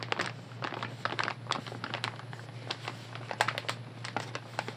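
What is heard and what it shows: A full, light blue soft plastic wet wipes pack is held in both hands and tapped and scratched with long nails. The result is a rapid series of short, crisp crinkling taps and scratchy rustles that die away almost instantly, over a steady low hum.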